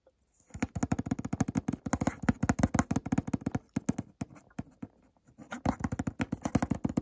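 Fingertips and nails tap quickly on the face of a small white cardboard eau de toilette box held on its side. The taps come in rapid, dry, hollow bursts with a low thud around 250 Hz and no ring, easing into softer, sparser taps near the five-second mark before picking back up.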